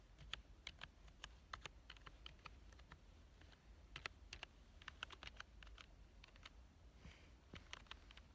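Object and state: Plastic computer keyboard.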